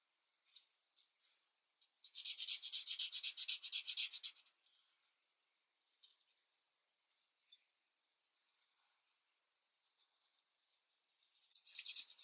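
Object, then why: Felt-tip marker on a thin paper sheet. A felt-tip marker held in the hand rubs steady coloring strokes across a thin paper coloring book page lying flat on a desk. It makes soft, bright, scratchy rasps with no low end: a few short strokes, then a dense run of fast back-and-forth scribbling, then sparse light taps and swipes before another quick burst at the end.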